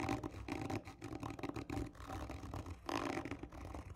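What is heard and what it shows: Long nails on both hands scratch hard and slowly across the surface of a hollow, textured cardboard tube lying on its side. The sound is a continuous rough, rasping scrape in uneven strokes, with a hollow resonance around 285 Hz and little ring after each stroke.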